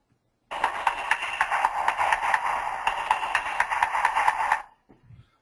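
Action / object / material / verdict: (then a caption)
knock / concrete lining over steel pipe casing / concrete / hollow. About 16 rapid hammer taps sound the inside of a pipe's concrete core lining over a steel casing, giving a bright, hollow knock around 880 Hz that dies away quickly. The hollow sound indicates debonding (delamination) between the steel and the concrete.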